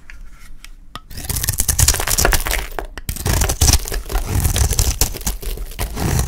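A metal utility knife blade shaves a solid oval bar of dry yellow soap held in the hand, peeling off curls. After a quiet first second, a dense run of crisp, crackling scrapes and cuts follows, bright and gritty with a low rumble beneath.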